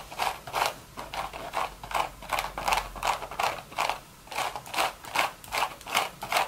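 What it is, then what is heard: Woven straw hat. Long red nails quickly tap and scratch a beige woven straw hat with a hollow crown. The result is a steady, rhythmic run of dry, crackly bursts centered in the midrange with bright, hissy edges. Each burst decays quickly, with almost no low end.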